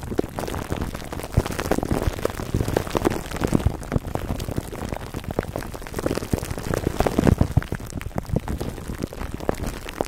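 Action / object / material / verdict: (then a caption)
scrape / plastic cling wrap over foam microphone cover / plastic film / none. Fingertips and short nails of both hands scratch clear plastic cling wrap stretched over the dome of a black foam microphone windscreen. A dense, steady stream of dry crinkling and crackling, heavy in the low end, runs throughout, with slightly louder bursts near the end.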